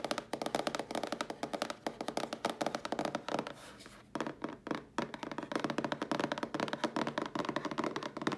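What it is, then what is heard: Cardboard box tapped with nails. Long nails tap quickly and scratch along the side panels and edges of a cardboard mailer box held in front of the body. Dense, dry, short taps with mid-range pitch keep up a steady rhythm, broken briefly in the middle by a softer stretch of scratching before the fast tapping resumes.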